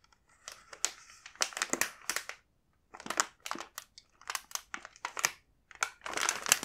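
A full plastic bag of kinako mochi is held and handled by hand, producing bursts of bright, papery crinkling. The sound comes in short clusters separated by brief silences, with almost nothing in the low end.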